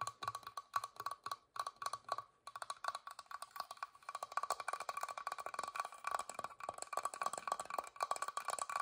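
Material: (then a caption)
Wood. A wooden box is tapped quickly with the fingers, giving quiet, dry knocks with a hollow woody tone around 1.1 kHz that die away almost instantly. The taps come in short bursts at first, then settle into a dense, steady patter.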